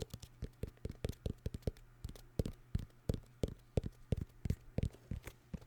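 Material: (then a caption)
Cardboard. A vinyl record in its cardboard sleeve is tapped in a quick, uneven run of soft, dull taps. Each tap is short and low-pitched with almost no ring, and there is a faint steady hum underneath.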